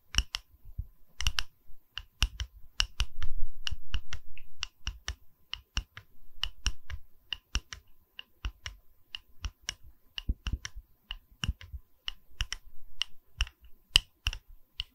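Long red nails tap and scratch the cut face of a small, solid round wooden log slice coaster with a bark rim, held in the hand. Quick, irregular dry clicks with a bright edge ring out over a soft, low thump, with brief rubbing scratches between them. Rings on the fingers may add extra clicks.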